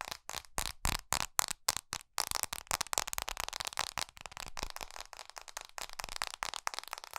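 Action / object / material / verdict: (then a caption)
tap / smartphone with glass screen and metal edges / glass / none. An iPhone SE, held horizontally without its case, is tapped quickly and hard by long nails on its glass screen and metal edges. The taps are sharp, dry, bright clicks with almost no ring. They start as separate bursts and then blur into a dense, crackling rattle.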